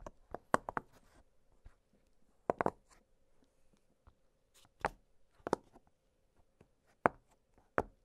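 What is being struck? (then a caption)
Silicone pop-it fidget toy. Fingertips press and pop the hollow bubbles of an octagonal blue silicone pop-it fidget toy lying flat on a glittery surface. About eleven short, soft, mid-pitched pops come at irregular intervals, some in quick pairs, each dying away almost at once. A faint steady hum sits underneath.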